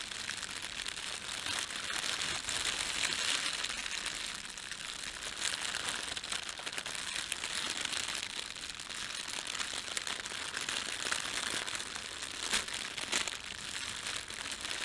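Fingertips press, rub and crumple a thin red printed plastic bread bag laid flat over a white plastic bag, hollow and soft. The result is a steady, continuous bright crinkling with dense crackles and almost no low end throughout.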